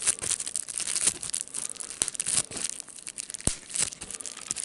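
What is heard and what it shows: Fingertips press a sheet of clear plastic bubble wrap, popping its air bubbles and crinkling the plastic. A steady, bright crackle of crinkling runs throughout, broken by sharp snapping pops, the loudest near the three-and-a-half-second mark.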